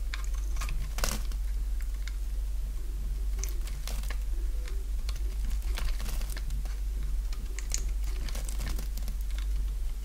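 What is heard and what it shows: A solid oval bar of dry pink soap, held in the palm, is shaved into curls with a box-cutter blade. Short, crisp scraping and cutting strokes with bright crackling edges come in quick succession over a steady low hum.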